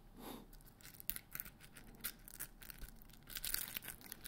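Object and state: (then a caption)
Glitter-coated foam Christmas bauble. Fingertips and nails scratch and tap the rough surface of a large white polystyrene-foam Christmas ball, probably solid foam, with a glittery crystal coating, grey star decorations and a hanging string. Quiet, bright, crinkly scratching comes in uneven bursts, punctuated by short, sharp taps that die away almost instantly over a low background hum.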